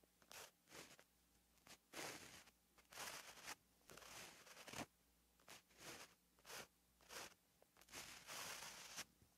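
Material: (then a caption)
Paper. A white gel pen writes strokes on a flat, lined paper notebook page, its tip scratching across the paper. The result is a series of short, bright, scratchy bursts with brief quiet gaps between strokes and little low end.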